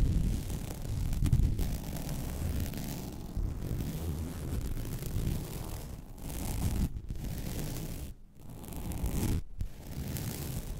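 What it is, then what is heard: Woven vinyl placemat being scratched. Long red nails scratch and drag across the weave of a flat, white woven vinyl mesh placemat. The result is a steady, dense rustling scrape with a heavy low-end texture, broken by brief pauses near the end.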